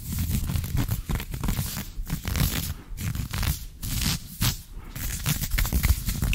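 Fingertips and short nails scratch fast over soft green ribbed knit fabric of trousers stretched over a bent knee, close to the microphone. The result is a dense, continuous rough scratching and rustling with a heavy low rumble and a thin bright hiss, swelling and dipping in quick bursts throughout.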